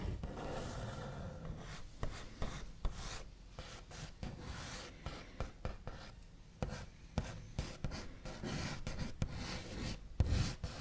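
The backs of fingernails trace scratchy strokes across the large, solid, smooth top of a white-finished wooden table, making a continuous dry rasping rub. Sharp, short taps cut through it, each with a dull low thump that dies away almost at once.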